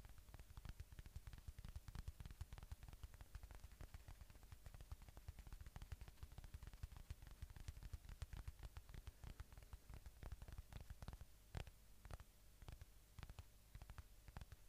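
Fingertips tap and scratch the red face of a solid, soft watermelon-slice polyurethane foam squishy toy held close to the mic. A quiet, continuous stream of rapid, dull, low thumps with very short ring is heard, mixed with faint soft scratching and almost no bright content.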